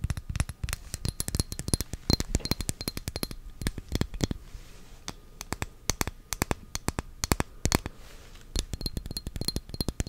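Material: Glass.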